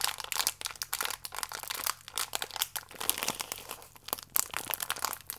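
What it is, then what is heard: Plastic-film biscuit pack being crinkled. A small, full plastic-film biscuit pack is crinkled, squeezed and stretched flat by both hands. It makes dense, bright crinkling and crackling in rapid bursts, with no low end and no ring after each crackle.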